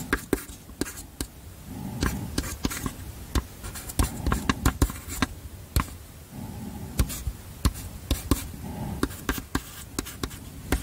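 Chalk held in the fingers scratches and taps across a small flat black chalkboard slate in a wooden frame, held close to a microphone while Korean text is written on it. Many sharp, short clicks from the chalk strokes stand out over a steady, low, scratchy rasp, with brief pauses between bursts of writing.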